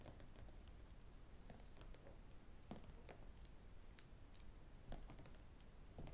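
Fingertips and metal rings tap and scratch the blue plastic cover and metal spiral of a large spiral-bound notebook with paper pages, lying flat and solid on a desk. Quiet, short, bright clicks and scrapes come in a loose patter over a steady low rumble, each tap dying away almost at once.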